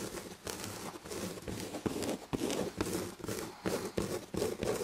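Long red-painted fingernails scratch the textured red and gold damask fabric on the back of an upholstered chair. The sound is a steady run of dry, raspy scratching strokes that swell and dip, with a soft, muffled mid-range body and little high sparkle.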